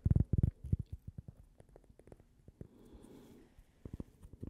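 A small, thin, solid cork coaster shaped like a slice of toast and printed with a logo is held up and tapped with long painted nails. Quick, dull, low taps come in uneven bursts, strongest at the start, with a soft brushing hiss in the middle before a few more taps at the end. Each tap is muffled and dies out at once, with no ring.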